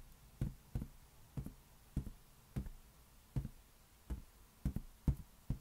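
Fingertips slowly tap a large, hollow, air-filled green latex balloon held in one hand, giving eleven soft, low, dull thuds at uneven intervals. Each tap is a short boomy bump that dies away almost at once, with nothing bright above it.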